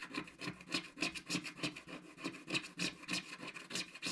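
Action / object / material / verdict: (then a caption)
scrape / scratch-art card page scraped with a wooden stick / coated card / none. A wooden stick scratches the black coating near the edges of a flat, solid scratch-art card page. Quick, fairly regular strokes come about three per second, each a short, dry, bright rasp that stops almost at once.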